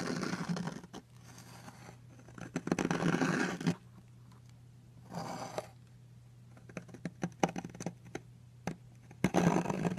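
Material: Soap.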